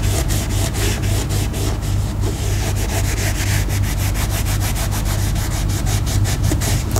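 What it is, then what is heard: Leather sling bag being rubbed. A round foam applicator pad is rubbed in circles over a black grained leather sling bag lying flat, with a small leather label on its front panel, while conditioning it. A steady, brushy scrubbing repeats at about three to four strokes per second over a constant low hum near 98 Hz.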